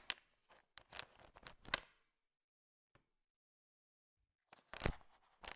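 A large pile of small, solid, sugar-shell-coated chocolate M&Ms is stirred with a thin wooden stick, and the candies click against each other. Quick, bright clicking clusters fill the first two seconds, then a near-silent pause with one faint click, then another burst of clicking near the end.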